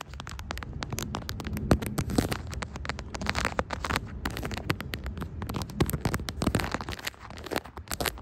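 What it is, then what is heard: Smartphone in plastic case being tapped and scratched. Long striped acrylic nails tap and scratch across a brown plastic smartphone case decorated with bear, coffee cup and smiley charms, on the same phone doing the recording. Dense, rapid clicks and crackly scrapes run throughout over a close, muffled low thump, with a few sharper taps standing out.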